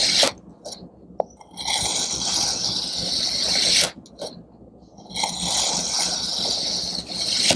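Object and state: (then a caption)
Kinetic sand block being sliced. A serrated metal knife slices through a solid pink kinetic sand mooncake block, and thin slices fall away. Two long, grainy, bright scraping strokes are heard, separated by quiet gaps with a few small ticks.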